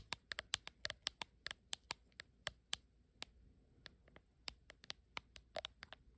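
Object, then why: Glass back of a smartphone. Long acrylic nails tap and scratch the glass back panel of a blue iPhone with no case, held in one hand. Around two dozen quick, bright, dry clicks land in an uneven rhythm, with soft scratchy rubbing between them and a faint steady high whine underneath. Each tap stops instantly, with no ring.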